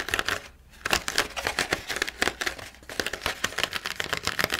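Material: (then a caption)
Plastic. A plastic blister pack on cardboard from a carving kit is scratched and tapped with nails and fingertips, first on the plastic front and then on the printed cardboard back. A rapid run of sharp, dry, bright clicks and scrapes with almost no low end and no ring, broken by brief quiet pauses.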